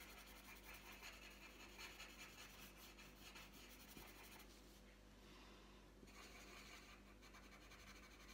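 The tip of a green wooden coloured pencil rubs across a thin, flat sheet of printed paper lying on a tabletop while colouring. It makes a continuous soft, scratchy rasp with bright hiss and quick back-and-forth strokes, easing briefly in the middle before resuming.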